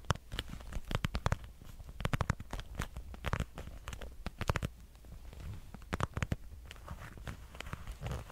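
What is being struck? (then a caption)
Patent leather wallet with metal clasp. A dark red glossy patent leather wallet with a metal clasp is tapped and scratched with fingernails. Quick, crisp, dry taps and scrapes come in irregular bursts over a low, steady hum, with short sticky crackles from the glossy surface.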